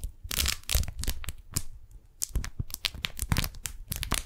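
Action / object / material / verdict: scrape / beeswax-coated cotton wrap / waxed cotton / none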